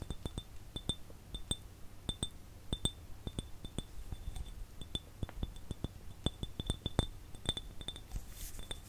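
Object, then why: Small glass jar. A small, hollow, empty clear glass jar with no lid is held in both hands and tapped with the fingertips and nails. The result is a quick, irregular run of light glassy clinks, each with a brief, high, bright ring that dies away almost at once over a soft low background.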